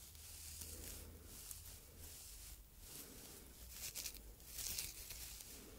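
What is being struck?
Synthetic fibre scouring pad.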